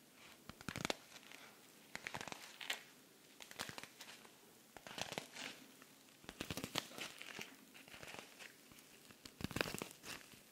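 A silver rhinestone-covered cosmetic pouch is held in the hands while fingernails scratch and rub across the rhinestones. The result is bursts of bright, crisp crinkling and scraping with a dry, quick-fading texture. The bursts come in uneven clusters over a quiet background.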